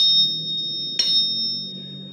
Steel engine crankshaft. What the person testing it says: Begitupun juga yang ini, nyaring